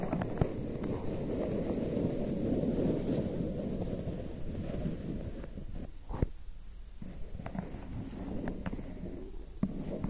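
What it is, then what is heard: Paper cup. A large, hollow, printed lemonade ice paper cup is held in both hands close to the mic and scratched and tapped with long painted nails. A dense, low, papery scratching fills the first six seconds, then quiets to a sparser stretch of sharp, dry taps and light scrapes that stop instantly.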